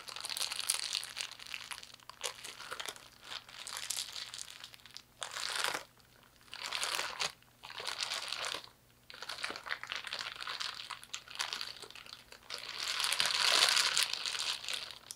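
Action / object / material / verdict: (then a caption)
scrape / thin clear plastic bag / plastic / none. A thin clear plastic bag with small blue-labelled packaging inside is crumpled, squeezed and opened out by both hands using the fingertips. It gives bright, crackling crinkles in uneven bursts separated by brief quiet gaps, with the loudest stretch near the end.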